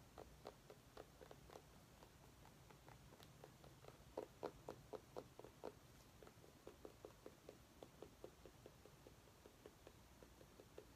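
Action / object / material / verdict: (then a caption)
tap / small orange pumpkin / pumpkin rind / none. A small orange mini pumpkin with a curved stem is tapped with long nails. Quick, quiet, dull taps sound in a loose, uneven rhythm of about four per second, each dying away almost at once. A faint low hum runs underneath throughout.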